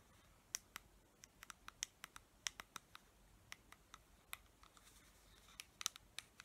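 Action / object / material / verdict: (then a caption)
tap / plastic pump bottle with paper label / plastic / none. Long nails tap and scratch a clear plastic pump dispenser bottle with a paper label, partly filled with clear liquid. About twenty sharp, bright clicks come at an uneven pace, each dying away almost at once, over a faint, soft scratchy hiss with almost no low end.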